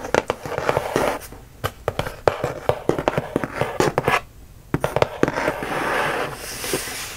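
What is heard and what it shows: Fingertips and nails tap and scratch across the side and end of a closed, medium-size, red-and-white printed Universal Yums cardboard box that seems full. About two dozen short, dry taps with hollow midrange knocks are heard, separated by soft papery scratching. A brighter, steady scrape fills the last couple of seconds.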